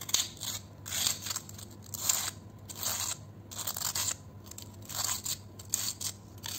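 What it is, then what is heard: Fried potato chip scraped. A red-handled metal vegetable peeler scrapes and shaves along the edge of a single thin, curved, dry fried potato chip held between the fingertips over a bowl of chips. Repeated bright, rasping, crunchy scrapes come in uneven bursts over a low steady hum, leaving a shaved chip edge.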